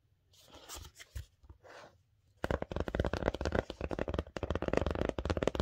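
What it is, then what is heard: Cardboard-backed paper envelope. Long dark-painted nails scratch and then tap on a flat kraft paper "please do not bend" mailing envelope with a grey board insert, postage labels and washi tape, held up in both hands. Soft, brushy scratching comes in brief bursts for the first two seconds or so. Then a dense run of rapid, dry, hollow taps follows, with a thin papery ring.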